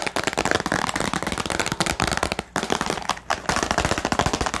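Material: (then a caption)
Plastic. Long painted nails tap rapidly on a small, hollow, clear plastic storage box held in both hands, with a pen and white paper items inside. A dense flurry of short, crisp clicky taps with a bright plastic rattle centred around 1.6 kHz, each dying away almost instantly, pausing briefly twice before carrying on.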